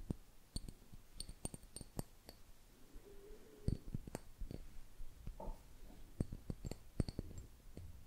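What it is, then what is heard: Glass jar with metal lid. A small, mostly empty clear glass jar with a screw-on metal lid is held in the hand close to the microphone and tapped and scratched with fingertips and nails. The result is a quiet run of sharp, dry taps and clicks with faint bright glassy chinks that die away almost at once, mixed with soft scratching between them.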